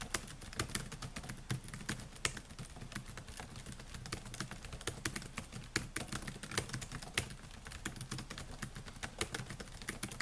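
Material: Plastic.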